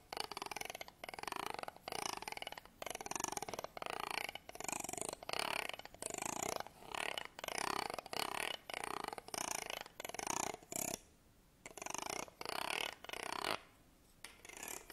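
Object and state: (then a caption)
Wooden comb. A black pen-like tool is scraped slowly across the teeth of a wooden comb held upright close by. The result is a run of rough, buzzing rasps with a steady ticking texture from each tooth, mid-pitched with bright high edges. Short pauses come between strokes, and two longer near-silent gaps fall late in the clip.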